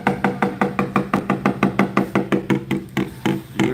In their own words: When you tap the blade, you hear that thud. That's what we look for when we're tapping a blade out.